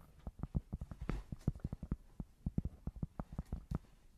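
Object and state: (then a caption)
Cork board tapped. Fingers tap quickly and irregularly on a cork board, giving about two dozen dull, muffled thuds. Each tap is short and low, with almost no ring and little brightness.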